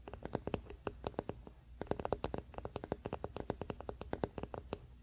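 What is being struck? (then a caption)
Wooden paddle hairbrush back. A large wooden paddle hairbrush lies flat, bristles down, on a fleece blanket while the fingertips and short nails of both hands scratch and rub its flat, solid wooden back. The result is a quick run of short, dry, crisp scratches and taps with a hollow woody tone around 400 Hz, pausing briefly near the middle before continuing.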